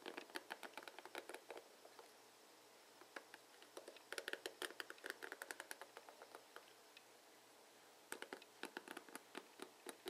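Fingertips strum and scratch across the plastic bristles of a blue plastic paddle hairbrush, producing quiet, rapid, dry clicking and ticking with a bright, crisp edge. The clicks come in quick bursts with short pauses between them, and each one stops almost instantly with no ringing.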